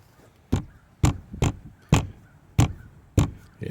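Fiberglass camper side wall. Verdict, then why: Solid. Knuckles rap seven times on a fiberglass camper side wall, each knock a short, dull, low thud that dies away quickly. The spot sounds solid, meaning the wall is bonded there.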